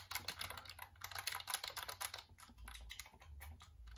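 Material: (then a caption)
Plastic. Fingertips type rapidly on the keys of a black plastic full-size computer keyboard held up facing forward. The result is a fast, dense run of bright, crisp plastic clicks, busiest and loudest in the first two seconds and then lighter and more spaced over a faint low hum.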